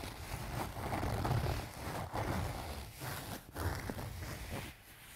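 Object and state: Fabric cosmetic pouch.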